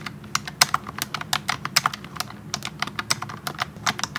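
Fingertips of both hands type continuously on a pink plastic wireless keyboard with round typewriter-style keycaps, set in front of a tablet. About two dozen short, sharp, bright key clicks come in an uneven, rapid stream, each dying away almost instantly, over a faint low background hum.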